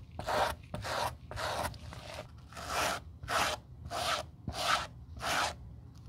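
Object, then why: Suede leather loafer brushed with a bristle brush. A gloved hand scrubs the upper of a hollow black suede leather Gucci loafer with a gold horsebit, resting on a towel, using a white-bristled suede brush. The result is a series of soft, raspy brushing strokes at a steady, unhurried pace, each a bright, airy scratch with little low end.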